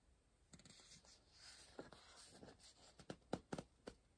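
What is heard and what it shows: A pencil writes on the paper page of an open softcover puzzle book resting on a pillow, staying on the same spread throughout. Quiet, dry scratching and soft strokes build toward a cluster of sharper, louder pencil taps near the end.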